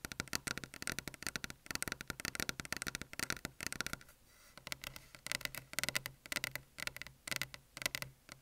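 Fingers tap rapidly on a desk surface for ASMR, producing a dense run of short, dry, bright clicks and patters with almost no low end and no ringing. The tapping pauses briefly around the four-second mark, then resumes at the same quick pace with a faint tone near 2 kHz.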